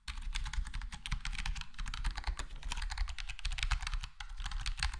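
Fingertips of both hands type steadily on a full-size black plastic HyperX Alloy Core gaming keyboard with square plastic keycaps and a foam-modded, foam-dampened case. The result is a dense, continuous stream of soft, short clicks and taps with bright key-top clatter over a low, steady hum.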